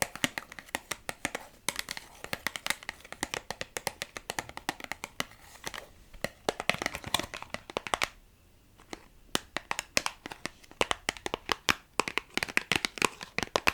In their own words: I've been tapping on some plastic box.